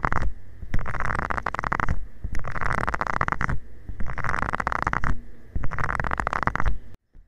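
A covered fingertip rubs and taps across the small nubs of a flat, round, solid green silicone scrubber pad lying flat. The result is close, muffled, rumbling scratches with a crackly texture, heavy in the lows, coming in several dense bursts separated by quieter stretches. The sound then cuts off abruptly to near silence.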